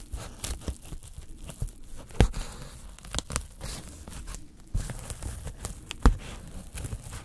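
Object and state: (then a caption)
Polyethylene foam packing sheet being torn. A thin white polyethylene foam packing sheet, about A4 size, is held in gloved hands while tweezers pluck and tear small pieces out of it, leaving a growing hole. Short, dry tearing and scratching crackles come in quick, uneven bursts, with a few sharper snaps standing out. Each one stops dead with no ring, over a quiet background.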